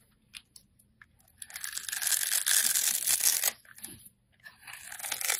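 A utility blade scrapes the scored surface of a hand-held, solid, translucent orange glycerin soap bar into small cubes. A few short, faint scrapes come first, then a long, bright, crunchy tearing scrape builds and holds before a brief pause. The scraping returns more softly at the end, leaving loose cubes of soap.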